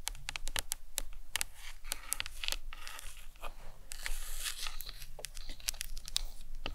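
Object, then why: Hollow plastic skull model. Long acrylic nails tap and scratch the sides of a large, hollow white plastic anatomical skull cap resting on a towel. Quick, bright clicking taps mix with dry, crinkly scratching over a soft low rumble, each tap dying away almost instantly.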